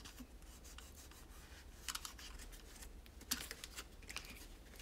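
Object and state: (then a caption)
Plastic toy tower being wiped. A multi-part pastel toy tower of hollow molded plastic is wiped and rubbed with a microfiber cloth held in the fingers. A soft, bright, steady rubbing hiss runs throughout over a faint low rumble. Sharper handling clicks stand out near the two-second mark, around three and a third seconds, and again toward the end.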